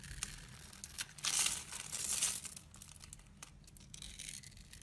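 A blade scrapes and shaves the surface of a solid, hand-sized bar of orange and yellow striped soap held in the palm, knocking off crumbly flakes. The result is a dry, bright, crackling scrape with rapid crisp ticks, swelling into louder rasping strokes in the middle before settling back to a softer, steady shaving.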